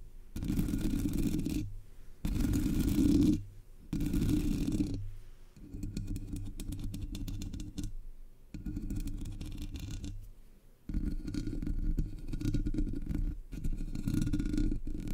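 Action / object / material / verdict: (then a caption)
scrape / metal mesh microphone grille / metal mesh / none. Long nails scratch and a single nail taps on the hollow black metal mesh grille of a Blue Yeti microphone. Dense, low-heavy rasping scratches come in sustained bursts separated by brief pauses, with a faint steady tone running underneath.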